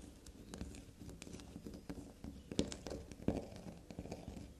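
A small, solid carved bar of black soap resting on fabric is tapped and scratched with long, glossy black nails. Quick, soft, irregular taps and scrapes patter along with a dull, low body and brief bright clicks, and two sharper taps stand out near the middle.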